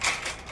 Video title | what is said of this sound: Dryer making a rattling noise sound while turning baffle replacement. | shake it so you can hear the noise that's in the baffles